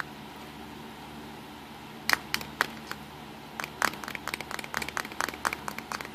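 Fingertips tap on the side and front of the hollow black plastic casing of a small black Nikon compact digital camera resting on a pink towel. After a quiet stretch, a few isolated sharp, bright clicks give way to a quicker run of light taps with almost no ring.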